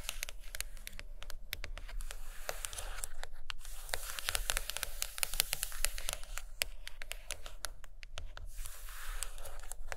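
Long acrylic nails tap and scratch the cover of a thick, solid purple hardcover book lying closed on a carpet. Quick, sharp, dry clicks are mixed with bright, rasping scratches. Each tap dies away at once, over a steady low rumble.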